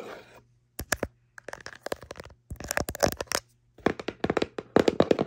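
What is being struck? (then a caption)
Small cardboard box. A small, hollow kraft cardboard box for bamboo cutlery is tapped and scratched on its top and front with fingertips and long nails. A soft scratching opens the clip, then comes a run of sharp, dry clicks and taps in uneven bursts, with a faint low hum underneath.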